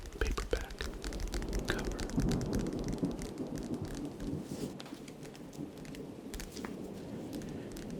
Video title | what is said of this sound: ASMR Tapping During Thunderstorm [HAND SOUNDS] [RAIN SOUNDS] | I thought tapping on the old aged paperback cover would compliment the thunderstorm that is passing through right now. The old aged paperback cover makes good sounds.